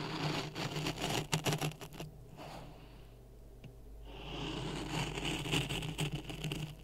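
A wooden stick stirs dry sand in a clear plastic cup resting on a red microphone. It makes a close, gritty scraping and rustling with a steady low hum underneath. The stirring fades to a quiet lull in the middle, then builds back into bright, crackly grinding.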